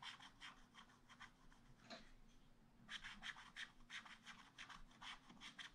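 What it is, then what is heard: Wax-coated scratch art paper being scratched. A wooden stylus scratches a dark rabbit into a black wax-coated scratch art paper page in a spiral pad. Quick, bright, rasping strokes repeat at an uneven pace, growing louder and denser in the second half over a faint steady low hum.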